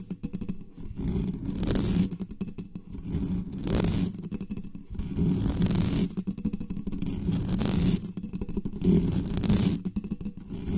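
Long nails scratch fast over the top of the metal mesh grille of a black studio microphone. The result is a dense, low, rumbling scrape with uneven bursts, some flaring into bright, hissy sweeps.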